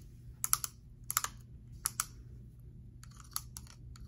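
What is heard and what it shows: Long manicured nails tap and click on the perforated plastic lid of a small round blue plastic gel air freshener container, with the gel visible inside, while it is held in the other hand. Short, bright, dry clicks come in quick irregular clusters over a quiet low background hum.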